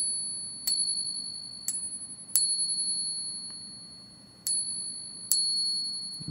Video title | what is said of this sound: NO Silver Bells?? | let's listen to its distinctive ring very nice ring to it